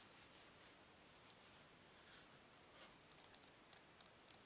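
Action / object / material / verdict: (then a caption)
scrape / laminated cardboard book cover / cardboard / none. Long pink-painted nails scratch across the printed, laminated cardboard cover of a closed, old hardcover children's book, "Spooky Tricks," held flat, making a soft, steady, hissy rustle. Over the last second and a half, the scratching gives way to eight sharp, bright little taps on the cover.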